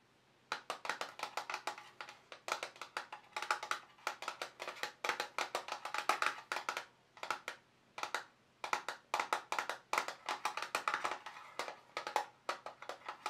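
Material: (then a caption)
Plastic. A small, hollow, closed black glossy plastic watercolour travel paint box with a compartmented lid is tapped with fingertips and short nails. Rapid bursts of dozens of light, dry, clicky taps come in quick runs separated by brief pauses, with a bright hollow tone and almost no ring after each hit.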